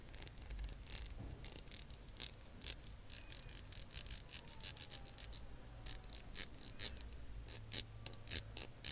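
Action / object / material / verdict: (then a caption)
tap / small plastic lip gloss tube / plastic / none. A small, slim, translucent lilac plastic lip gloss tube, held in the fingers, is tapped and scratched with long acrylic nails. It makes a quiet, uneven string of short, bright, crisp clicks, with soft, hissy scratching between them and a faint low hum underneath. The taps grow denser and a little louder toward the end.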